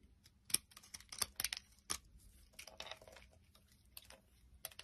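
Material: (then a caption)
Soap. A solid, round, purple bar of soap covered in knobs is held in the palm and handled with the fingertips while a utility knife blade scrapes the bumps off. The sound is a quiet, irregular run of sharp, bright scraping clicks and crisp crackles with almost no low end. Each scrape stops abruptly, and the brief rustles in between are softer.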